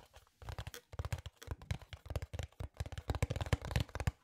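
A small, hollow brown cardboard box held in both hands is scratched and rubbed with nails and fingertips. The result is a rapid run of dry, crisp scratches and rubs with a hollow low thump beneath them. The short bursts crowd together too closely to count reliably.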